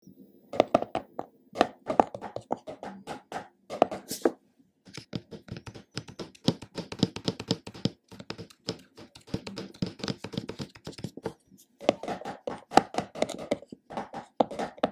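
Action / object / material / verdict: tap / plastic jar with screw lid / plastic / none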